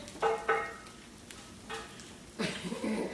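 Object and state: Cast iron pan.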